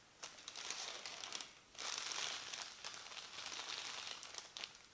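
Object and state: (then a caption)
Paper instruction leaflet. A large, thin printed paper instruction leaflet on a table is folded and rubbed flat with palms and fingertips. Bright, dry crinkling and rustling comes in uneven swells, with sharp little crackles on top and almost no low end.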